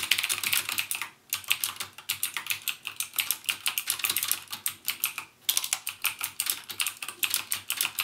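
Fingertips type continuously on a backlit plastic mechanical keyboard with plastic keycaps and Cherry MX Blue switches. The result is a rapid stream of bright, sharp clicks centered around 2.5 kHz with almost no low end, broken by two brief pauses.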